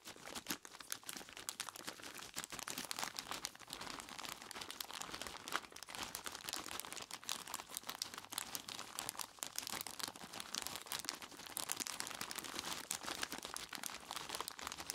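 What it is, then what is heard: Plastic bag of ice cubes. Fingertips of both hands squeeze and rub a large clear plastic bag full of ice cubes, crinkling the plastic and crunching the ice inside. The result is a steady, quiet stream of dense, bright crackles and crunches with almost no low end, running for the full fifteen seconds.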